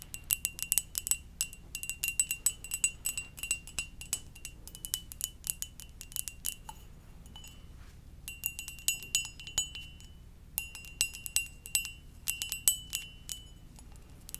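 A ceramic mug shaped like a Poké Ball is tapped gently, making rapid clusters of light, bright clinks with short, glassy rings over a soft low rumble. The taps come in bursts with brief pauses between them, around the middle and near the end.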